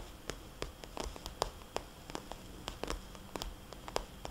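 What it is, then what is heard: Plastic cosmetics bag. Fingertips and long painted nails tap and scratch the surface of a small red glossy plastic cosmetics bag with white polka dots, lying flat. The result is an irregular run of short, sharp, bright clicks with faint scratching between them, over a low steady hiss and hum.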